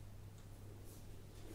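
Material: Nothing is struck.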